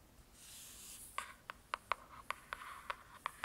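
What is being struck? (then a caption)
Hardcover paper book. Long pointed nails scratch across the glossy cover of a solid hardcover "True Crime" paper book, giving a soft, bright hiss. They then tap the cover nine times in quick, irregular succession. Each tap is a crisp, dry click with no ring, centered around 1 kHz with some bright upper content.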